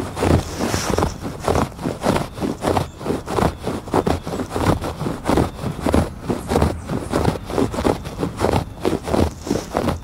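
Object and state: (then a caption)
Woven textile rug. Fingertips and nails scratch back and forth across the ribbed weave of a thick woven fabric rug on a porch. The result is a steady run of dull, rough rasping strokes, each a short burst of textured scraping noise with a soft low thud underneath and little high-end brightness.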